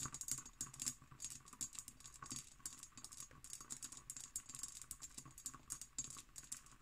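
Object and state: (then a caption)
Empty cut glass decanter. Long green nails tap quickly across an empty, hollow hobnail-pattern cut glass decanter with its stopper in place. A rapid run of light, bright clicks with a faint high glassy ring dies away almost at once after each tap.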